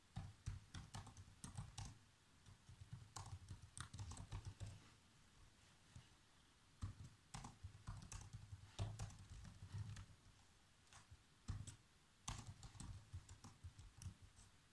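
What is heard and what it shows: Fingertips type on the black plastic keys of a laptop keyboard, producing bursts of quick, soft key taps with a low thump beneath bright clicks. The typing comes in flurries separated by short quiet pauses.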